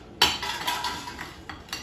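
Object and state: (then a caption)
Crispy fried spring rolls. Frozen spring rolls cooked in an air fryer are lifted out and handled, giving a series of short, bright crackling taps with most energy in the high range. The shells are crispy and the filling is cooked through.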